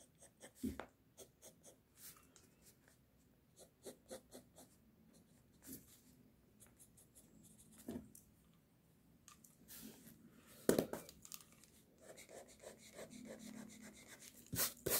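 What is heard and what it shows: A pink mechanical pencil held in the fingers scratches across a flat white sheet of drawing paper lying on a desk, adding drawing strokes to a sketch. Quiet, dry, papery scratches come in short irregular bursts of bright, broadband texture, with a few louder, sharper strokes near the middle and at the end.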